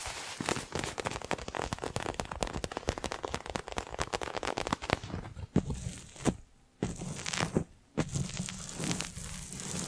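Long nails rapidly tap and scratch the surface of a small, hand-sized, colorfully printed faux leather toy ball, likely stuffed. A dense stream of sharp, crinkly clicks and scrapes fills the first five seconds. It gives way to sparser taps with brief near-silent pauses and a low hum underneath.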